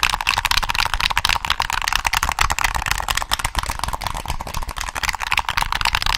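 Fingertips on a black, hollow plastic PS3 game controller held in both hands click its triggers and tap its shell. The result is a rapid, irregular stream of short, dry, bright plastic clicks and taps, about four per second, with almost no ring after each one.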